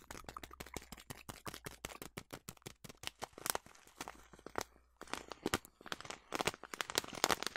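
A large yellow plastic bag of oats is held close and crinkled and scratched with long nails, making rapid, dry crackling bursts with bright, hissy highs. The crinkles come in dense clusters, with a brief pause near the middle before the scratching picks up again, louder.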